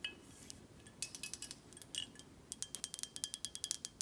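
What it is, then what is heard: Glass whisky bottle tapped with nails. Long acrylic nails tap the front glass and the cap of a full, dark glass Buchanan's 18 whisky bottle held in hand. The result is a quick series of light, bright clicks and clinks with almost no ring. The taps come scattered at first, then fall into a faster, steadier rhythm in the second half.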